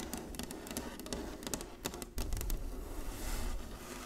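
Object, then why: Inlaid wooden chessboard. Long nails tap rapidly across the squares of a large, flat, inlaid wooden chessboard, making quick, crisp clicks with short, dry decay. A steady low rumble runs underneath, growing slightly louder after the midpoint.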